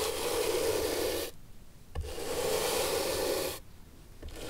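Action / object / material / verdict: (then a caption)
scrape / leather shoe sole / leather / none. A bristle brush is rubbed over the leather sole of an antique shoe held upright on a table with the sole facing out. Two long, steady scratchy strokes are heard, each a dense, bright hiss with a low hum underneath, separated by brief quiet gaps, and a third stroke begins at the very end.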